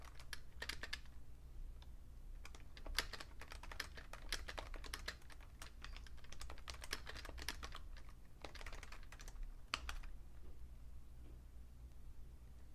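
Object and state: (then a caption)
Plastic computer keyboard. A vintage Fujitsu Siemens beige plastic full-size keyboard with a hollow case is typed on with fingertips and short nails, producing quick, bright, clicky taps in uneven bursts that pause briefly around 5 and 10 seconds. A steady low hum runs underneath the whole time.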